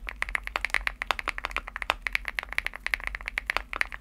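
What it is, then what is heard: Aluminum mechanical keyboard with plastic keycaps. Fingertips type quickly on a Womier SK75 75% keyboard with an aluminum case and pastel plastic keycaps. The key taps come as a rapid, uneven string of short, crisp clacks, centered near 2 kHz with a bright top. Each tap dies away almost instantly over a faint low hum.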